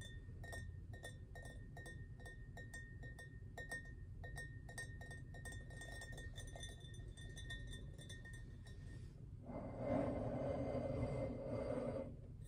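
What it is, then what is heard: Glass wine bottle. Fingertips tap and touch the sides of a full, dark glass red wine bottle with a paper label, held upright on a table between both hands. For about nine seconds, quick, fairly regular clinks ring with a clear, bright glassy tone. A louder, broader rubbing sound over the glass follows near the end.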